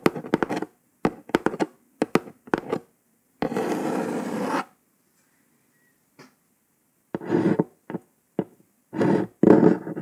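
Long pointed acrylic nails tap and trace over a hollow, flat kraft cardboard box lid printed with red text. Quick clusters of dry, hollow taps give way to about a second of steady scratchy tracing, then more bursts of tapping and short scrapes after a pause. The sound is mostly low-mid, with little bright content.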